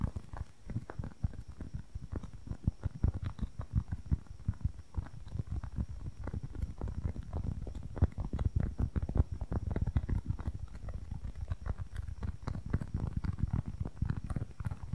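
A small, pale, solid polyurethane foam squishy toy block is held in one hand and tapped rapidly with long nails. The result is a dense, continuous patter of soft, muffled, low thuds with almost no brightness and very short decay.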